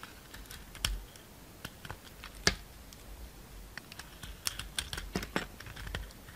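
A utility knife shaves the green glitter coating off a solid round soap with a pale green core. Short, dry scraping and cutting ticks come at an uneven pace, some crisper and louder than others. Each is bright and dies out almost instantly over a quiet background.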